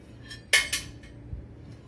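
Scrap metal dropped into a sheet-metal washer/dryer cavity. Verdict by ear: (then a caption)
Empty. Scrap metal is dropped into a door opening in the cavity of a scrapped Samsung front-load dryer near the control panel to check for hidden paper money. Two loud, bright metallic clinks ring briefly, followed by a faint third. The hard, ringing "ting" with nothing cushioning it means the spot is judged empty.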